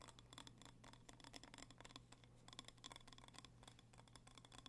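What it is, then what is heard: Glass candle jar. A small red glass candle jar with a label, filled with wax, is held in both hands and tapped and scratched with fingertips and nails. Quick, quiet, dense taps and scratchy rustles carry a bright glassy ping near 3.4 kHz, over a steady low hum.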